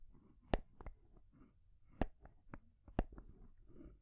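Long grey nails tap and scratch on a small rainbow wooden stacking ring toy, with solid painted wood rings on a post and a wooden ball on top. Sharp, dry clicks that die away almost at once stand out over a soft, low scratching rustle. The recording is quiet and close.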